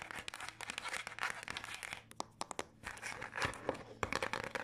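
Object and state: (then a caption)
Paper passport booklet. A small Canadian passport booklet with a textured dark blue cover and paper pages is held in the hands and scratched and tapped with long acrylic nails. Dense, bright, crinkly scratching fills the clip, thinning briefly in the middle to a few sharp, isolated taps before the busy scratching resumes.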